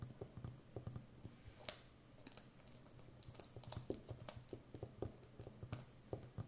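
Long nails rapidly tap the rim of a full roll of brown plastic packing tape on a cardboard core with a hollow center. The result is a quiet, rapid run of short, dull clicks that sounds like typing. Each tap is low-heavy and dies away almost at once.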